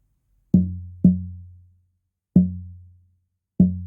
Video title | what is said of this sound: Pt 1 The Daniel. A Craig Williams Flame Cherry acoustic guitar build. Herringbone purfling. | quite a solid sound there